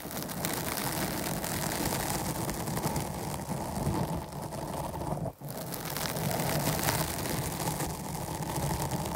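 Long nails on both hands scratch the sides of a dark foam microphone windscreen, producing a dense, continuous crackling rustle that is heavy in the low end. The scratching runs steadily throughout, with one brief drop to near silence just past the midpoint before it resumes.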